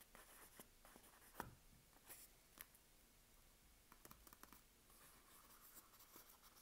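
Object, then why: Soap bar in a paper wrapper. A sealed Palmolive soap bar in its paper wrapper is held in hand while long nails steadily scratch the paper over the solid bar. The result is a quiet, dry rustling scrape with brief crisp ticks and occasional sharper clicks, bright in tone with little low end.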